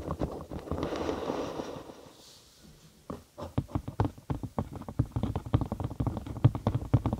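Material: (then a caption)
Cork. A thin cork sheet curved over a binaural microphone, hollow underneath, is scratched with long acrylic nails, giving a soft rustling texture for the first two seconds. After a brief quiet pause, quick, uneven taps follow, each one a dull, deep, hollow knock with almost no ring.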